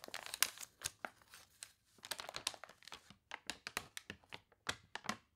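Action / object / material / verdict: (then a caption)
scrape / thick glossy paper catalog / glossy paper / none. Fingertips rub a thick, glossy paper toy catalog with wavy pages, turning and crinkling the pages. Quiet, dry, bright crinkles and crunches come in quick, separate bursts with short silent gaps and almost no low end.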